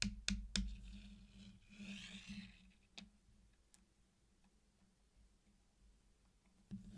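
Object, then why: Small candy-coated chocolates with hard sugar shells. Fingertips pick up and place single solid candy-coated chocolates in a flat circular mosaic on a black surface, clicking the hard shells together. Three quick sharp clicks come first, then a soft bright rustle and a few sparse, quieter clicks over a steady low hum.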